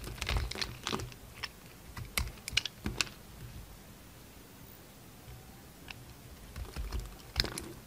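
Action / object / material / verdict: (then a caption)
scrape / bar of soap cut with a blade / soap / none. A red utility knife shaves and cuts a solid pink bar of soap that still has bits of purple glitter coating. The result is a string of short, dry, crisp scrapes and clicks with bright edges. A quiet pause falls in the middle before a few more cuts, ending with a sharper scrape.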